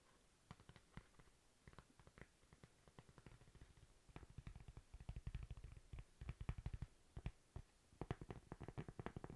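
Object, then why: Thin flat cork coaster. A thin, flat, toast-shaped solid cork coaster is tapped and scratched with long nails. Rapid, dull, low-pitched taps with almost no ring mix with faint scratching. The taps come thicker and louder in the second half.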